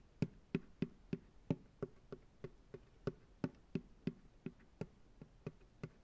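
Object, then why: Plastic ice cream pail. Fingertips tap on the bottom of an empty white plastic ice cream pail set upside down on a lap, giving a quick run of 18 hollow, dull knocks. Each tap dies away almost at once, with a low body around 160 Hz and a faint bright click on top.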